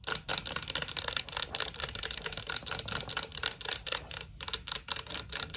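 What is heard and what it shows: Long nails tap the plastic lid of a tall Pringles can, a cardboard composite tube standing on a table, then tap along the sides of the tube. The result is a rapid, uneven run of dry, bright clicks that die away almost instantly, with very little low end.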